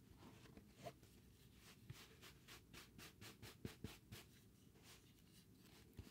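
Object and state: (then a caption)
Cork board piece, solid. A solid, irregular piece of granulated cork board held in the hand is scratched and brushed with tools, including a paintbrush. Quiet, dry scratching and rubbing strokes repeat in short bursts. Each stroke gives a bright hiss over a low, grainy rustle.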